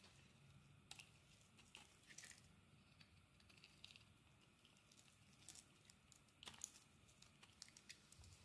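A metal blade carves crumbly shavings off a solid purple bar of soap. The quiet, bright scraping and crackling is broken by sharp, dry ticks and crisp snaps that die away instantly, over a low, soft rumble.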